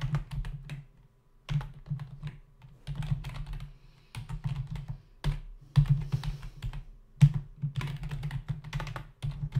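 Fingertips of both hands type fast on a full-size black plastic membrane computer keyboard with hollow keys, resting on a desk. Quick bursts of clacking keystrokes, separated by brief pauses, pair a low, hollow thump with bright, dry clicks that stop short.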